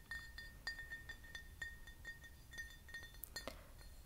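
A large, hollow, empty frosted matte glass vodka bottle is tapped with fingernails close to the microphone. The result is a quick run of light, bright clinks, each leaving a brief glassy ring around 2 kHz over a soft low background hiss.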